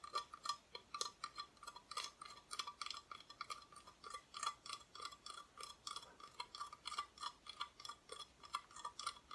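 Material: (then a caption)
Plywood. Long nails quickly tap and scratch the raw wood back of a solid, flat, thin plywood Christmas decoration cut-out held at an angle. The result is a rapid, steady run of short, dry clicks with no lingering ring, centred around 1.2 kHz with bright, scratchy high overtones and no low end.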